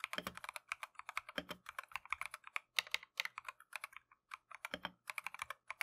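Gloved fingertips type continuously on a plastic Keychron V1 mechanical keyboard with Tangerine switches and green and cream PBT keycaps. A quick, uneven run of short, bright, clacky taps with almost no low end, each dying away at once, with brief pauses between bursts.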